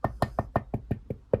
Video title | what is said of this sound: My WWE Championship's Collection | the sidebar, side plates, and the belt tip, metal